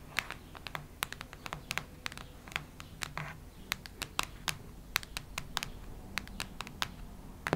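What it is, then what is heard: Hardcover notebook scratched with fingernails. Long red nails scratch and tap across a solid cactus-print hardcover notebook, making a quick, uneven run of sharp, bright clicks and scrapes. Each click dies away almost at once over a faint low hum.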